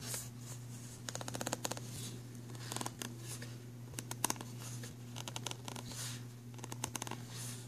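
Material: Plastic.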